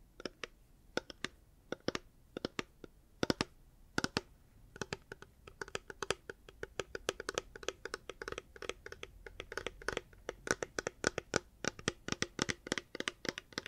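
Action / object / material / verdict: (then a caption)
tap / hard plastic water bottle / hard plastic / none. Fingers tap on a reusable hard plastic water bottle, giving quick, dry, clicky taps with a slight hollow body around the low mids and bright edges, each dying out at once. The taps start sparse and irregular, then grow faster and denser from about five seconds on, all at a soft, close level.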